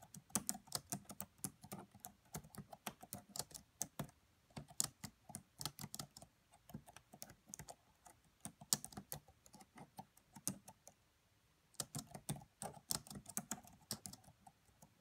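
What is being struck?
Laptop plastic chiclet keyboard.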